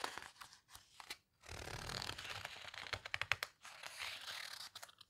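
Long-nailed fingers rub and squeeze the page edges of a large open paper houseboat photo book with heavy, coarse paper, then turn its pages. Bright, crisp crinkles and sharp ticks alternate with longer dry rustling sweeps, separated by brief silences, with little low end.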